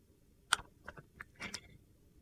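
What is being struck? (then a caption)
Clear glycerin soap bar with soap cubes. A box-cutter blade slices thin shavings off a clear glycerin soap bar with colored soap cubes set in it, held in one hand. A sharp, bright crack opens the clip, followed by several short, crisp scraping cuts with almost no ring.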